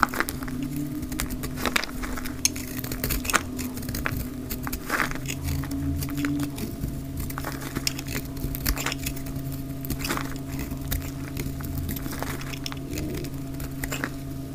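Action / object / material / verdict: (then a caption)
scrape / bar of soap shaved with a blade / soap / none. A utility knife blade shaves chunky flakes off a solid, dry yellow-orange soap bar held in the hand, played at double speed. Quick crisp scraping and crackling cuts come in a rapid stream over a steady low hum.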